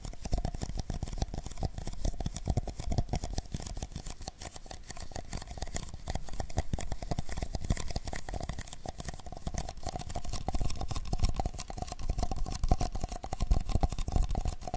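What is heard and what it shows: Two identical hollow, empty paper cups, black outside and white inside, are held one in each hand with their open ends toward a binaural mic while fingertips rub and tap the cup walls. Dense, rapid, crinkly taps and scratchy rubbing run continuously at a fairly even level, with a heavy low, boomy body and a faint steady tone around 700 Hz underneath.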